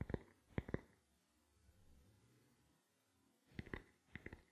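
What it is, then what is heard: Plastic camera lens cap. A small, black, hollow plastic camera lens cap is held in both hands and tapped with fingertips and nails. Quiet, dry, hollow taps come in two clusters with a soft, near-silent pause between them, each tap dying away almost instantly.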